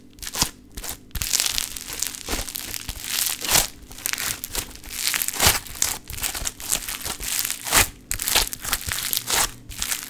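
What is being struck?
Lump of foam bead modelling clay.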